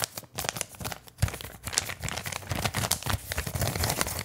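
A flat, empty brown kraft paper bag is crumpled and rubbed with fingertips right in front of the microphone. It makes a dense, continuous stream of crisp crinkles and crackles, with soft low thumps and bright, papery rustling throughout.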